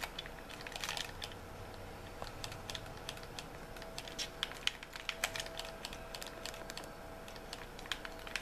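A white hollow plastic gamepad is turned in the hands while fingertips tap and click on its plastic shell. Quick, dry, bright clicks and light taps come in irregular clusters over a quiet background with a faint steady tone, each one dying away almost instantly.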